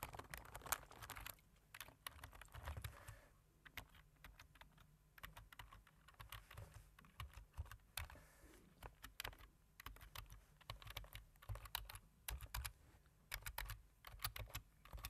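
Fingertips press individual keys on a black plastic computer keyboard in slow typing taps. Dry, short clicks with bright edges and a soft low thump beneath them come in uneven bursts, each one stopping almost at once.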